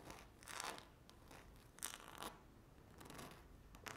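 Two very long, curved natural nails scratch and tap a flat, solid speckled laminate tabletop. Quiet, dry scratching bursts with a bright, hissy edge are broken by short, sharp taps that stop almost instantly.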